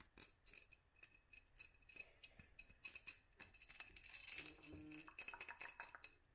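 A hobnail-textured clear glass jar, its lower part filled with dark contents, is held in the hands and tapped and scratched with long nails. It gives a rapid series of bright, sharp clicks and clinks with a short glassy ring, plus a brief rougher scratching stretch in the middle.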